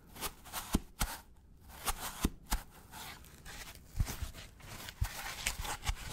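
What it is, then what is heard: Styrofoam packaging block. A white polystyrene foam packaging block is held close and scratched and tapped with gloved fingers. About nine sharp taps land as short, dull thumps with bright squeaky crackle, separated by softer rasping scratches across the foam surface.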